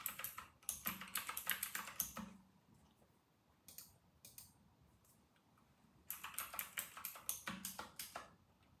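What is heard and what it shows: Fingertips of both hands type steadily on a full-size white RK960 mechanical keyboard with round retro plastic keycaps. Bright, sharp plastic clacks come in a quick run for about two seconds, then a couple of isolated keystrokes over a faint background hiss, before another quick run of typing resumes.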